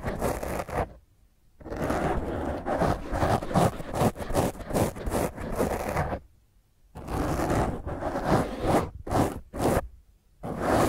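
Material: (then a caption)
Foam. Long fingernails on one hand scratch a black foam microphone cover, making rough, dense scratching and rustling close to the mic. The scratching comes in sustained bursts with short silent pauses between them, full-bodied in the low and mid range with little high brightness.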